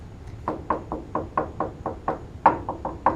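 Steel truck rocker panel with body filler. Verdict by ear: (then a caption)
Hollow. Knuckle knocks along a steel truck rocker panel with Bondo body filler and grind marks, a series of 12 short, dull, hollow knocks with a midrange tone and almost no ring. The panel sounds hollow in one spot and a little less hollow further along, indicating Bondo filler work on the rocker.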